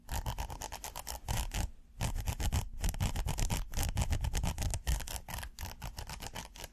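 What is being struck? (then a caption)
Ribbed silicone pot holder. A flat red silicone pot holder with a ribbed surface is held up and scratched with fingernails. Rapid, irregular scratching strokes come in dense bursts with a muffled, low-heavy texture, broken by brief pauses near 2 and 5 seconds.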